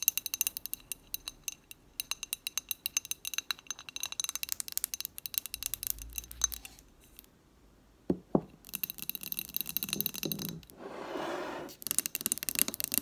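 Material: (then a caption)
Glass. Long nails tap quickly on an amber glass jar candle filled with wax while it is held and tilted, making bright, sharp glassy clicks in rapid bursts. The tapping pauses briefly near the middle, then resumes with a short, rougher hissing stretch before the quick clicks return.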